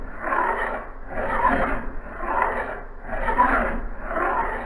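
A solid steel axe head, clamped in a vise on a blue cloth, has a metal file pushed by hand along its blade edge. Repeated rasping strokes swell and fade in a steady back-and-forth rhythm, with a gritty midrange centered near 1 kHz and a faint bright hiss above.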